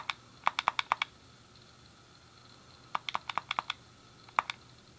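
A thumb clicks the D-pad and fingertips press the face buttons of a hand-sized, hollow grey plastic SNES game controller. About sixteen short, bright plastic clicks come in three quick bursts, with quiet pauses between them. Each click is dry and stops almost at once, with no ring.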